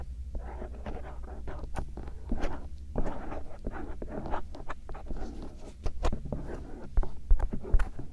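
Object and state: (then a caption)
Silicone ear of a binaural microphone being scratched. A bamboo earpick held in fingers scratches the auricle and the area around the canal opening of a silicone ear shell on a binaural microphone. The sound is close, soft, dry scraping and rubbing in short strokes, over a steady low hum.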